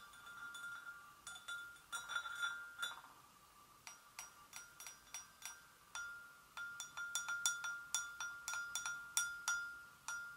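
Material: Porcelain.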